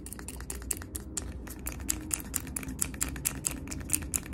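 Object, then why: Glass jar candle filled with wax. Fingernails tap quickly on the glass body of a medium glass jar candle filled with solid cream wax, lid on, held close. The result is a rapid run of sharp, bright clicks with a high glassy tick and almost no ring, over a steady low background hum.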